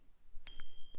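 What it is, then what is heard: Genuine gold bar, clear ring. A 20 gram gold bar is tapped, giving a sharp strike followed by a sweet, clear ring: two steady high tones sustain for about a quarter second, with a second tap near the end. The bar is judged real because a fake would not ring like that, and it also weighs correctly.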